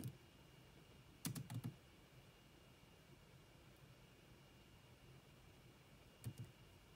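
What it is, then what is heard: Plastic laptop keyboard being typed on. Long manicured nails and fingertips tap rapidly on the dark plastic chiclet keys of a grey laptop with a hollow body. Short, low, hollow clicks come in quick bursts: one at the start, a tight cluster near the middle, and a pair near the end. Between them is a quiet, steady background with a faint thin whine.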